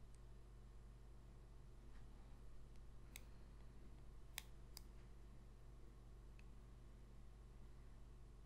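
A long pink fingernail taps and scratches the face of a small, thin, glossy coated-cardboard football trading card held in one hand. A few faint, sharp, bright clicks stand out briefly over a quiet, steady low rumble and soft hiss, with very little ring after each tap.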